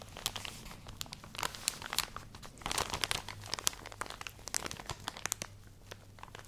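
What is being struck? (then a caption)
Plastic package of cotton pads. A full plastic package of cotton pads is scratched and squeezed with long nails, giving dense, bright crinkling and sharp crackles. The crackles come in quick uneven bursts over a faint low hum.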